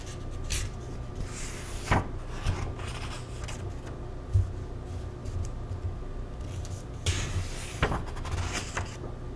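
Fingers flip the thin paper pages of an open paperback vegan cookbook, *Eat To Live*, one by one, with page edges rubbing together. Soft dry rustles and brief bright swishes rise over a steady low rumble, with short crisp flicks as each page turns.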